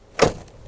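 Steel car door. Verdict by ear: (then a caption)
Solid. A steel door on a 1999 Infiniti Q45 sitting in a junkyard is shut once, giving a single short, solid thud with a quick decay. The car is straight, with no door dings down the side, and not in bad shape; the door sounds solid.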